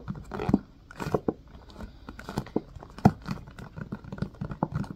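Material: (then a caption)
Silicone. Fingertips tap, press and scratch the domed cells of an empty blue silicone ice cube tray set in a white plastic frame. The result is a busy run of soft, dull, low taps and muffled squishy presses, mixed with brief bright scratching rustles. Every sound is short and dies away almost instantly.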